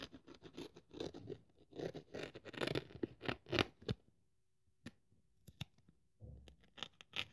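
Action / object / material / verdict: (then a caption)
scrape / thin polyethylene foam sheet / polyethylene foam / none. A thin white polyethylene foam sheet, held above a pile of strips, is cut with a craft scalpel blade. Dense, irregular scratchy scraping fills the first four seconds. After a near-silent gap, sparse sharp clicks and a short rough burst follow.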